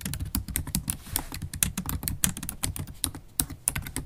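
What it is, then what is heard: Laptop keyboard with plastic keys. Long acrylic stiletto nails type rapidly on a MacBook Pro keyboard with black plastic keys set in an aluminium body. The result is a quick, steady stream of short, dry clicks, each a bright, sharp tap over a soft low thud, dying away almost instantly.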